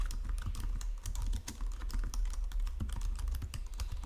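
Fingertips with long nails type continuously on a white plastic Logitech full-size keyboard resting on marble. The result is a rapid, steady stream of light plastic key clicks and taps with bright, sharp edges over a constant low hum.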